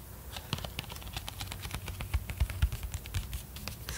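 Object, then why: Cardboard record sleeve. Fingertips and nails tap quickly across a flat, hollow 12-inch cardboard LP jacket with a glossy die-cut circular front. The result is a dense, steady patter of soft, low hollow thumps mixed with bright nail clicks, each dying away almost instantly.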